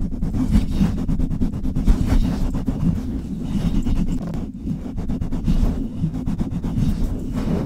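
Long red nails scratch and tap the hollow metal mesh grille of a Blue Yeti microphone up close. The result is a dense, boomy low-end rumble, broken by rapid, short clicky taps that end almost instantly.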